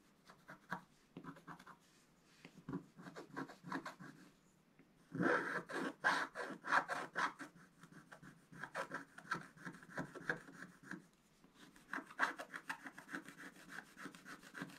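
A wooden stylus scratches lines into a flat, black-coated scratch-art paper card. Quiet, dry scratching strokes come in quick rasping bursts, with a short pause before a denser, louder run of strokes in the middle. Each stroke stops cleanly with no ring.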